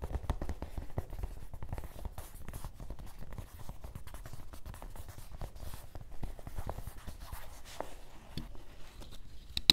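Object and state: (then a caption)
Canvas fabric fanny pack. Fingertips tap and scratch the surface of a dark grey canvas cloth fanny pack resting on a table, a soft, hollow bag. A steady stream of quick, dry scratching rasps and soft muffled taps carries low thumpy weight with a bright papery edge. Each sound stops almost at once, with no ring.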